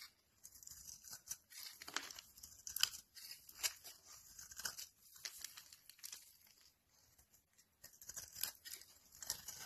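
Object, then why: Bar of vegetable soap scraped by a knife blade. A utility knife blade scrapes flakes off the face of a solid, rancid cream vegetable soap bar with embossed text. The result is quiet, bright, crisp scraping and crackling rasps that come in irregular bursts separated by brief pauses, with almost no low end.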